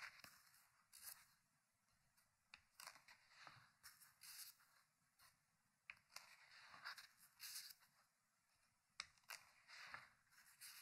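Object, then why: Hardcover book with paper pages. Fingertips lift and turn the paper pages of a thick open hardcover book resting on a wooden table. Quiet, bright papery flips and rubs come in short, crisp bursts separated by brief pauses, with almost no low end.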